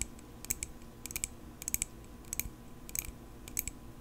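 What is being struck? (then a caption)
Small metal pocket knife. A small, solid silver metal pocket knife, held in both hands, is tapped with long pink acrylic nails. Quick, irregular clusters of sharp, bright clicks sound over a quiet, low background hiss, each tap dying away almost instantly.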